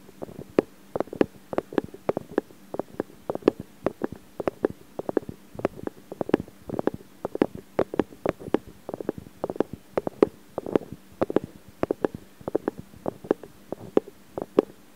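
Fingertips and nails continuously rub and scratch the metal mesh microphone capsules of a Zoom H4n recorder, up close. The result is a rapid, uneven stream of short, dry scratching clicks centred in the mids around 400 Hz, with faint bright edges and very little low end over a steady low hiss.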